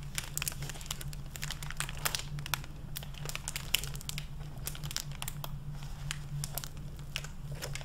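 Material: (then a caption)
Plastic film. A medium hardcover library book, wrapped in a clear plastic jacket over a paper dust jacket and holding solid paper pages, is handled with fingertips and long red-painted nails as it is opened, its pages are flipped, and the plastic-covered jacket is rubbed and crinkled. Dense, bright crinkling and sharp crackles come in quick bursts, with page rustles in between. A steady low hum sits underneath throughout.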